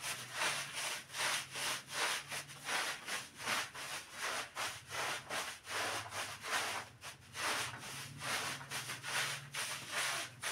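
A long-handled stiff bristle brush scrubs back and forth across a small black-and-red patterned pile rug lying flat on a tiled floor, soaked and covered in soap foam. The strokes make bright, wet, hissing rasps that swell and fade in a steady rhythm, a little over one per second.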